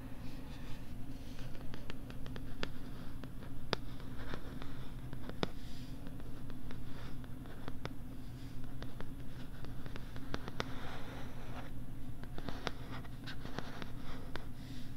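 A pink plastic LCD writing tablet is held upright near the mic while fingertips tap and scratch its plastic back. Sharp, dry clicks and soft scratching rustles sit over a steady low hum around 130 Hz.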